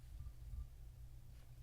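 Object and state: Nothing is struck.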